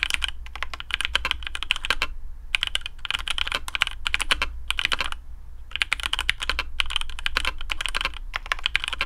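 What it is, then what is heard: Mechanical keyboard with PBT plastic keycaps. Fingertips of both hands type on a black AARU custom mechanical keyboard with TTC Speed Silver switches, PBT plastic keycaps, a carbon fibre plate and a hollow case. Rapid, bright, short clacks peak around 3 kHz over a steady low hum, in bursts broken by brief pauses near 2 and 5 seconds.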